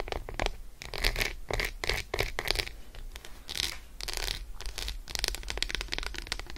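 Long acrylic nail tips on curled fingers scratch and tap rapidly across the surface of an unwrapped Roshen milk chocolate bar, a solid slab resting on fur. The result is a dense run of short, dry, crisp scratches and clicks with bright, hissy bursts, over a steady low rumble.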